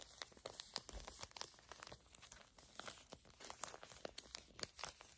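A small, flat, filled Garnier Fructis foil/plastic laminate hair mask sachet is crinkled and squeezed with long nails and fingertips. It makes a steady run of sharp, bright crinkling and crackling clicks with no ringing tail, over quiet, soft rustling.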